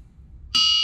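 A large solid forged steel V8 crankshaft stands on end on a shop floor, steadied by hand, and is struck once with a metal wrench in a ring test. After a low background rumble, the single strike gives a bright, bell-like tone centered near 2.9 kHz with clear high overtones. The ring sustains evenly to the end of the clip.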